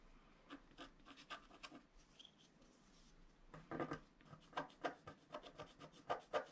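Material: Coated paper.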